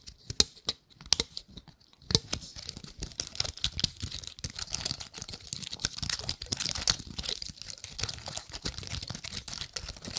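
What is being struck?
Painted pine cone scratched by fingernails.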